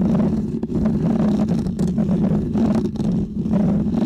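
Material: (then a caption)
Foam. Fingernails of both hands scratch a small, round, white textured foam windscreen on a microphone. The result is a continuous, muffled, rumbling scratch centered in the low range, with no bright highs and only brief dips as the strokes change.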